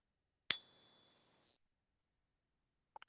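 A silver trade dollar coin is given a ping test to check its silver content after its weight seemed slightly heavy. A single strike produces a bright, high ring that sustains for about a second before fading, followed by two faint clicks. The long ring sounds right for a genuine 90 percent silver coin.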